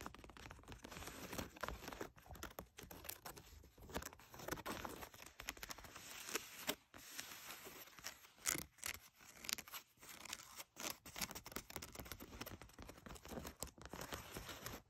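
Long nails scratch across the thigh fabric and coin-pocket area of distressed blue denim jeans lying flat. The sound is a quiet, dense run of bright, rasping scratches with brief pauses between strokes and no ringing.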